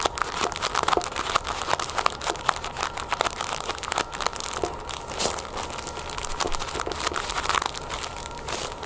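Both hands scratch long painted nails across the clear, crinkly plastic sleeve holding a flat cloth headband as it lies on a wooden table. It makes a dense, continuous crinkling and scratching full of quick, sharp, bright ticks that die away at once, with a faint steady tone near 1.2 kHz underneath.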